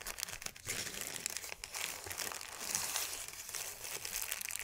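A thin white sheet of crumpled paper is smoothed and crushed between both hands, giving a continuous, bright crinkling and crackling with dense, rapid snaps throughout. The sound is quiet and mostly high-pitched, with almost no low end.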